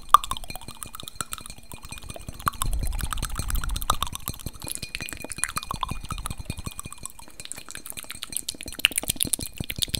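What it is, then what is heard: Glass vase tapped with fingernails. Long fingernails tap rapidly on a medium-sized, hollow, empty reddish-amber textured glass vase held in both hands, producing quick, dry, bright clinks with almost no ring. The taps come in a dense, uneven stream, with a soft low rumble underneath for a stretch in the middle.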